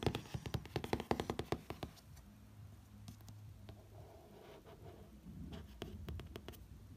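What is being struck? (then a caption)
Hardcover book with glossy cover. Fingertips trace and rub across the lower illustration on the glossy cover of a hardcover book. A quick run of soft, dry taps opens the clip, then gives way to a quiet, steady brushing with a faint low hum underneath. A few more light taps return near the end.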